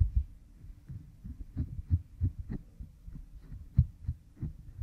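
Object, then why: Oiled silicone ear model microphone rubbed with a bamboo stick. A bamboo stick rubs behind an oiled pink silicone ear model microphone. It makes soft, muffled, low thumping and rubbing pulses concentrated in the deep bass, with brief brighter scratchy edges. The result is an irregular, throbbing close-up rubbing sound.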